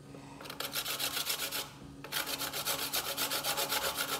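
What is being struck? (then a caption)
Fresh coconut flesh on a stainless steel box grater. A small piece of fresh white coconut flesh, held in the fingertips, is rubbed up and down a stainless steel box grater standing on a bamboo board. The result is bright, raspy scraping strokes at about four per second, in two runs separated by a short pause near the two-second mark. Shreds fall onto the board.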